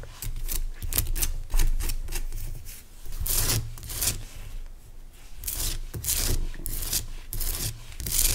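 Fingernails scratch and rub the sides and top of a large, pale rock salt lamp made of solid, rough crystal. Repeated bright, raspy strokes rise and fall over a steady low rumble, with short pauses between bursts of scratching.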